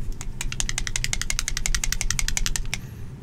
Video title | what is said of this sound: Army Painter Fanatic Unboxing/Review | you can shake it pretty easily and you can hear the ball moving around